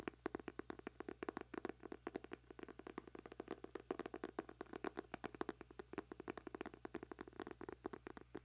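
A small black closed hardcover notebook, held in both hands close to a microphone, has its cover scratched and tapped with fingertips and nails. The result is a rapid, steady stream of dry, crisp clicks and taps with no ring, centred in the low-mid range with a little brightness on top. A faint low hum sits underneath.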